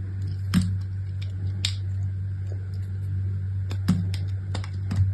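A small solid chunk of striped brown and white bar soap, held between long-nailed fingertips, is cut and scraped with a utility knife blade. Sharp, crisp cutting clicks and soft scrapes ring out bright over a steady low hum.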